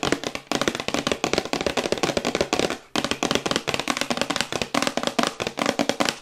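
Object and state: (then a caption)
Cardboard box. A glossy printed cardboard Yeti microphone box, held upright and then tilted, is tapped quickly with long white acrylic nails. The result is a dense, steady run of crisp, dry, hollow clicks that die away almost instantly, broken only by two brief pauses.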